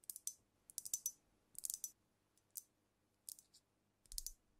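Long nails tap and click on the body and neck of a glass cognac bottle filled with amber liquid, held close to the mic. Short, bright clicks come in irregular clusters with quick decay and little low end. A soft low thump joins the final cluster.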